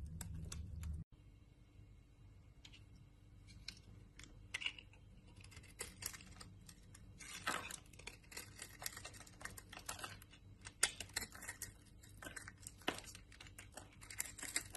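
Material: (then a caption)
Soap. A green-handled utility knife scrapes dry, crumbly chunks off a solid rectangular brown 72% laundry soap bar held in the hand. After a brief low hum that cuts off in the first second, a quiet run of crisp, bright scraping and crunching clicks follows, with sharper snaps standing out here and there.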